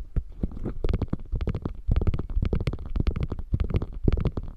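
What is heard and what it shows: Long painted nails scratch and tap the quilted flap of a small, hollow beige quilted faux leather crossbody bag lying on a fur rug, then grip its edges. The result is a dense run of quick, dull, low-pitched taps and rustling scratches with almost no ring.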